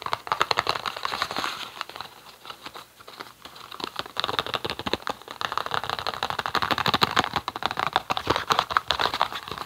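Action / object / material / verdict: tap / small cardboard box / cardboard / none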